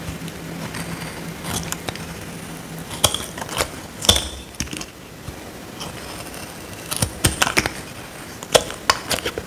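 A small metal blade scrapes a dry, solid square pink soap bar held in the hand. It makes short, bright, crisp scraping and crunching bursts in irregular clusters with very little ring, over quiet background noise and a faint low hum during the first few seconds.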